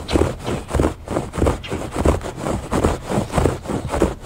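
Fingertips and nails scratch back and forth across the textured surface of a woven fabric rug, making repeated dry, muffled scraping strokes at a steady, unhurried pace. The sound is mostly low and mid-range with little brightness, and each stroke fades quickly.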